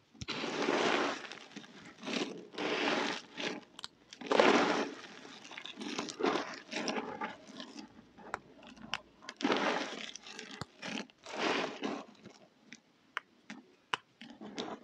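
Both hands dig into a large heap of small, dry, multicoloured soap pieces in a container, squeezing them and rubbing them between the fingers to crush them. Dense, crunchy, crinkling bursts come and go in waves, broken by sharp crackles and brief quiet gaps.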